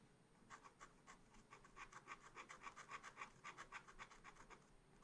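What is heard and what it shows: A pointed wooden stylus held in the fingers scratches lines into black wax-coated scratch art paper, a page in a small spiral pad lying flat on a table. About 21 quick, bright scratching strokes sound in a steady rhythm, each a short rasp centered in the mid range.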